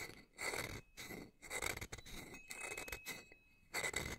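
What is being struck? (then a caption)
Metal tube wind chime. A small hanging wind chime of hollow metal tubes under a wooden top bar, held up by its string, has its wooden striker piece, held in the other hand, rubbed and scraped along the tubes. Bursts of bright, gritty scraping rise and fall with short pauses between them. A thin metallic tone near 2 kHz rings faintly through each burst and fades quickly.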